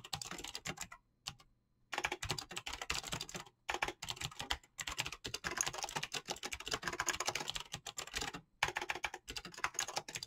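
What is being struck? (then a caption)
Mechanical keyboard, plastic keycaps. Both hands type fast with fingertips and short-to-medium nails on a mechanical keyboard with clicky switches and plastic PBT keycaps. The result is a dense stream of sharp, bright clicks with very short decay, broken by a few brief pauses, the longest near the start.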